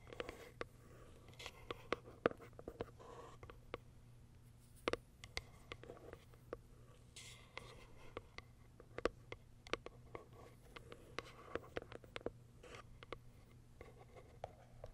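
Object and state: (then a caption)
Cardboard box. Long acrylic nails scratch and tap the top of a small, pale pink cardboard box. Quiet, dry, papery scratching runs throughout, broken by many sharp, short taps that die away almost instantly. A faint low hum sits steadily underneath.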